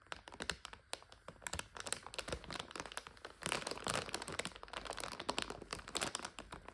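Long nails scratch and pinch a clear plastic bag full of dried egg noodles, making a steady stream of bright crinkles and sharp little crackles. The sound is quiet and dense, with short, dry clicks that die away almost at once and a busier, louder stretch midway through.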